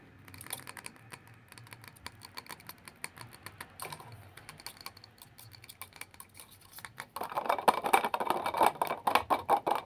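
A squat glass jar filled with solid yellow candle wax, with a metal lid, is tapped with fingertips and nails on its glass sides and lid, producing rapid, uneven clicking taps with bright, high edges. For the first seven seconds the taps are light and sparse. They then turn louder and denser, with a short glassy ring around 785 Hz.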